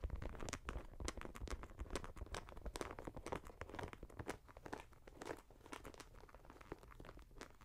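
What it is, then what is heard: Leather and mesh sneaker. Fingernails tap and scratch the side panels and sole of a leather and mesh Nike Air Max 90 sneaker held in the hand. Quick, irregular clicks and scratchy crinkles come in dense bursts over a soft low thump. The sound grows slightly quieter toward the end.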